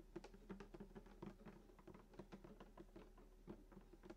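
Fingertips and short nails tap quickly on the wooden top, below the bridge, of a hollow sunburst acoustic guitar lying flat. The result is a quiet, rapid patter of soft hollow knocks with a warm, low-mid body resonance and very short decay.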